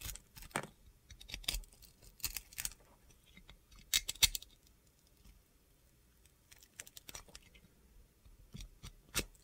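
A box cutter blade shaves and scrapes the coating off a glitter-coated solid bar of soap. It makes quiet, crisp, gritty scraping strokes that are bright and high-pitched, come in irregular short bursts, and stop dead with no ring. The loudest pair of strokes falls near the middle.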